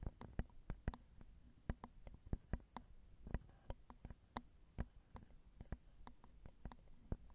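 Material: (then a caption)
Metal mesh. Long acrylic nails tap the small, hollow metal mesh grilles of a Zoom recorder's XY microphone capsules, making a quiet, uneven series of quick, dry taps. Each tap is a short, deep thump with a brief clicky edge and no ring. The taps sit over a faint low hum.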